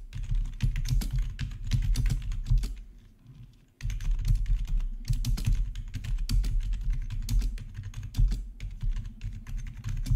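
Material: Plastic.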